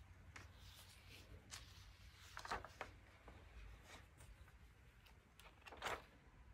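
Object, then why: Thin paper magazine. Bare fingertips flip, turn and flex the aged, soft pages of a thin 1947 vintage paper magazine booklet held open. Quiet, dry papery rustles and swishes rise into a few brighter crackling page turns, with a faint low hum underneath.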